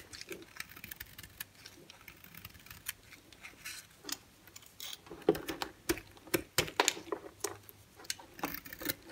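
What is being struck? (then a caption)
Bar of soap cut with a knife blade. A solid white bar of soap held in the hand is carved with a utility-knife blade, and the flakes fall onto a pile. Quiet, crisp scraping and short dry ticks come in irregular bursts, bright and thin with almost no low end. The cuts grow louder and snappier in the second half.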